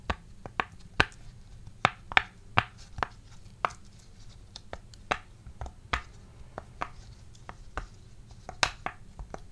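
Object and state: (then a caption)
Silicone pop-it fidget toy. A round green silicone pop-it fidget toy with hollow bubbles is held in both hands while its bubbles are pressed and tapped with fingertips and nails. About 16 short, dry pops and clicks with a bright snap sound at an uneven pace over a low, steady background hum. Each one dies away almost instantly.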